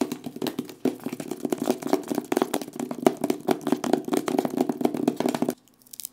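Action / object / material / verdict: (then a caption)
tap / small cardboard box / cardboard / none. A small black printed cardboard box with a photo on the front, seemingly hollow and held in both hands, is tapped and knocked quickly with fingertips and nails. Dozens of fast, dry, hollow-sounding taps with a midrange body run continuously for about five and a half seconds. Then they stop abruptly, leaving near silence with a few faint clicks.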